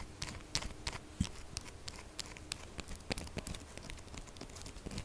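A solid pink textured soap bar is held on its side while long fingernails tap and scratch quickly at its end. The result is a rapid, irregular run of dry, bright clicks and crinkly scratching, with short sharp taps over a low, soft rustle.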